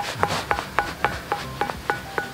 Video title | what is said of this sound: Situs Megalitikum Gunung Padang - Pusat Peradaban Dunia Ada Disini??? | kita mengetuk batu biasa ggak mungkin bersuara kayak gini teman-teman tapi sayang karena sekarang lagi hujan jadi batunya basah makanya suara yang dihasilkan pun tidak nyaring